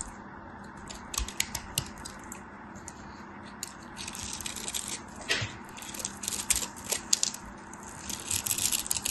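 A metal craft knife carves and scrapes chunks from the edges of a solid white soap bar held in fingers with white painted nails, and flakes fall off. Crisp, bright scratching and crackling come in irregular bursts of short ticks over a faint, steady low hum, growing denser and louder toward the end.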